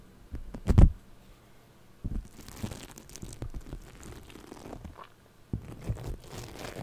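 Purple foam-bead floam clay resting on a microphone is scratched with a thin pick or brush tool and touched with fingertips. Close, muffled crunching and crinkling crackle through the clip, with a loud low burst near the start and softer bead-rubbing textures after. The sound is dull and bass-heavy with little brightness.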